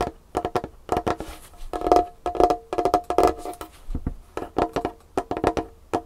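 Long painted fingernails tap fast across a large, solid wooden tabletop with a varnished finish. The result is a dense run of short, dry clicks with a hollow wooden tone near 700 Hz, some landing in quick clusters.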